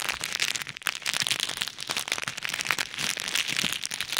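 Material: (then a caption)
Plastic. Fingertips squeeze and rub a small clear bag filled with pink and white plastic pearl beads over an ear microphone. The result is a dense, bright crackling rustle of beads shifting against the plastic, nearly continuous with brief dips, and almost no low end.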